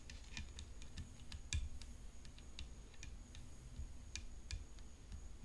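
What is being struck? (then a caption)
Tennis racket. Long fingernails tap a tennis racket in quick, irregular succession, making soft, bright clicks that die away almost at once. The taps sit over a quiet low rumble and a faint, steady high-pitched tone.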